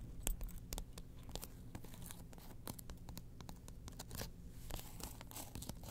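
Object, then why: Faux leather wallet interior with plastic ID window. Long nails scratch and tap the orange faux leather interior and the ID window of a small opened wallet. Quick, dry scratches and light ticking taps come in bright, brittle bursts over a steady low hum, staying quiet throughout.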